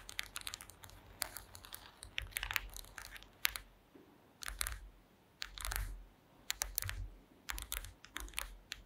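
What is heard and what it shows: Long green acrylic nails tap across the slats of a woven wooden slat mat. Quick, bright, dry clicks come in uneven bursts, with short scratchy rustles between them over a faint low rumble.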